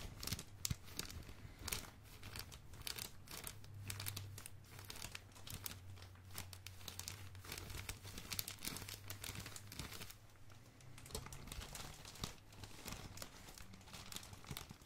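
A fist-sized bundle of crumpled, thin blue, red and black plastic film is held in both hands and squeezed and crinkled with the fingertips. Dense, bright crackles and crinkles come in quick bursts over a steady low hum.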